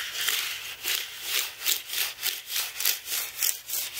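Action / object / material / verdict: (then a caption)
scrape / aluminium and plastic computer keyboard / plastic / none. A black carbon-bristle brush is swept and rubbed back and forth across the plastic keys of a white aluminium-framed computer keyboard. It makes a steady, bright sanding and brushing sound that swells and fades with each stroke, at about three strokes per second.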